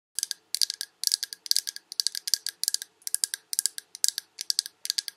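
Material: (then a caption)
Glass. Long red acrylic nails tap rapidly on a large Yankee Candle glass jar with a paper label, filled with solid wax and held in both hands. About 35 crisp, bright clicks come in quick clusters of three or four. Each click is dry and stops instantly, with no ring.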